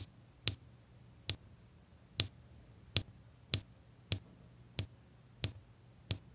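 A pink drill pen with a metal tip taps square resin diamond-painting drills down onto a flat, sticky adhesive canvas. Nine short, bright clicks come at a steady, unhurried pace, each stopping almost instantly, over a faint low hum.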